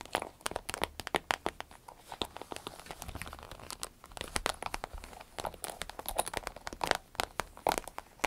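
Long nails tap and scratch an empty, medium-sized green striped vinyl zip pouch while hands squeeze it. Dense, rapid, crisp taps and crinkly scratches with bright clicks overlap into a pattering texture with almost no ring. The level swells and dips throughout.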